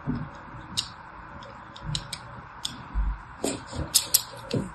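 A thin metal needle scores a solid lilac bar of soap held in the hand, scratching repeated grooves into its surface. About nine short, bright, crisp scratches and ticks are heard over soft low bumps, each dying away at once with no ring.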